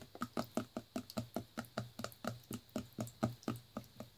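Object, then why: Plastic juice bottle. A full clear plastic Naked juice bottle with a blue cap is held in the hand and tapped with the fingers on its body and label. About 19 quick, soft, hollow taps follow each other in a steady rhythm, each a short low thud that dies away almost at once.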